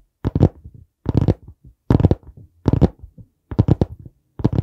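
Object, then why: Hardcover notebook board cover. Fingertips tap on the board cover of a dark brown hardcover notebook held at an angle beside the mic. Six bursts of quick, dull, low thuds, each followed by a few softer taps, are separated by short silences. The sound is deep and muffled with almost no ring.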